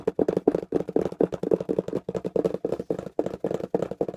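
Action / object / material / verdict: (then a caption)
tap / small taped corrugated cardboard box / cardboard / none. Fingertips tap quickly on the sides of a small, hollow, taped corrugated cardboard box held close up. About 28 rapid, dull, hollow taps land in an uneven rhythm, each short and papery with a low-mid body and almost no ring.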